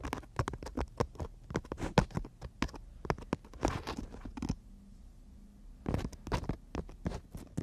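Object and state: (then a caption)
Emery board nail file. Long natural nails rapidly tap and scratch on a horizontal emery board nail file, a thin solid strip, producing quick, dry, clicky taps with soft scratchy rasps. The tapping pauses briefly midway, leaving only a faint low hum, then resumes at the same quick pace.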